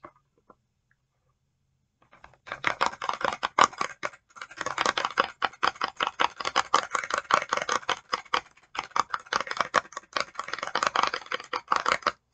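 Long acrylic nails rapidly tap and scratch a clear plastic e.l.f. facial oil mist spray bottle with blue liquid inside, held close. After about two seconds of near silence, a dense run of bright, dry plastic clicks and scratches fills the rest of the clip, centered in the mids around 1 kHz with high edges. Two brief pauses break the run, and each click dies away almost instantly.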